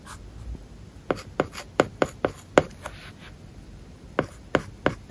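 A plastic stylus tip writes Japanese characters on an iPad covered with a solid, flat, matte paper-like plastic film. Soft scratching runs under a series of short, crisp taps, a cluster in the first half and four more after a pause. Each tap dies away almost at once.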